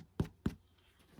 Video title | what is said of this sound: Homemade bread NorthCountry | if you knock on it and it's hollow sound, it's done